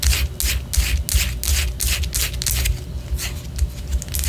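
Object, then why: Wax pillar candle. Long orange nails scratch and tap on a white solid wax pillar candle. Repeated bright, raspy scraping bursts come in an uneven rhythm, with soft low thuds underneath from the taps.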